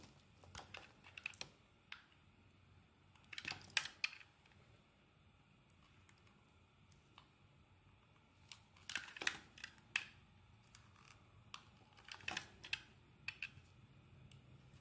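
A steel blade shaves thin layers from the face of a solid yellow bar of soap. Quiet, bright, crisp scraping clicks come in short clusters with near-silent pauses between the strokes.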